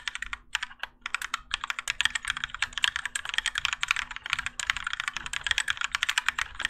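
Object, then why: Mechanical keyboard with plastic keycaps. Both hands type continuously with their fingertips on a Keychron K4 compact mechanical keyboard with Gateron Yellow switches, grey and orange ABS plastic keycaps, and a plastic and metal case resting on a desk mat. The result is a rapid, steady stream of crisp, bright clacks, each keystroke dying away almost instantly, over a faint low steady hum.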